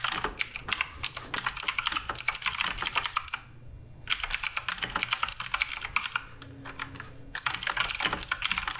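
Fingertips type continuously on the plastic keycaps of a black RGB Redragon K588 Broadsword mechanical keyboard, producing rapid, bright, crisp clacks in quick bursts. The typing pauses briefly twice, once after about three and a half seconds and again near the six-second mark, with a faint low tone during the second pause before the clacking resumes.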